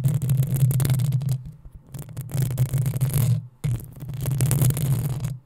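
Long nails scratch and tap the top of the hollow metal mesh grille on a black desktop microphone. It sounds like a dense, rough scratching with a heavy low thumping rumble underneath and a bright, hissy edge. It comes in three close bursts separated by short, nearly silent gaps.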